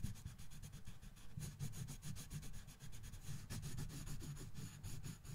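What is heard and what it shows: A colored pencil held in the right hand shades a thin paper coloring book page lying on a box, rubbing and scratching across it in rapid back-and-forth strokes. The result is a steady, quiet, scratchy rubbing, roughly two to three strokes per second, with a low, dull body and faint bright scratch edges on each stroke.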